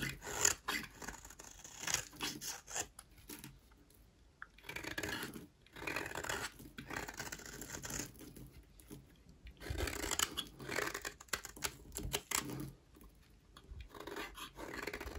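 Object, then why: Bar of soap scraped with a blade. A utility knife blade scrapes a solid, rectangular white bar of dry soap held in the hand, peeling off dry curls. A steady series of bright, raspy scraping and crunching strokes comes in bursts separated by short pauses, with little low end.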